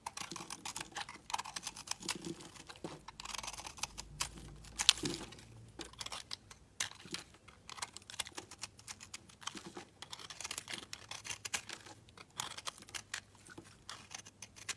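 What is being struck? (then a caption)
Bar of soap shaved with a knife blade. A solid pink speckled oval soap bar is held in the hand and shaved with a utility knife blade, and crumbly flakes fall off. The sound is a dense, rapid run of crisp, bright scraping and crackling ticks, light and dry with almost no low end, continuing steadily throughout.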